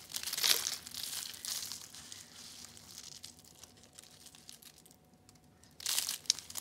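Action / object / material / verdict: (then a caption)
shake / dried soap curls / soap / none. Orange and yellow dried soap curls, thin brittle rolled sheets, are squeezed and crushed in both hands into flakes. Bright, dry crinkling and crunching bursts come at the start, fade into quieter crackles through the middle, then flare up loudly again near the end.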